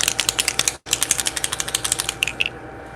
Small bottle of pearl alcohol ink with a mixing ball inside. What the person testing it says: you have to shake it up until you hear the ball